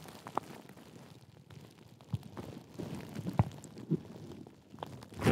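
A large sheet of clear plastic bubble wrap, wrapped around and held over a Blue Yeti microphone, is squeezed, rubbed and scratched with long nails and fingertips. A steady, muffled, low-heavy crinkling runs throughout, broken by sharp crunches and pops. It ends in a loud, rough burst of crunching.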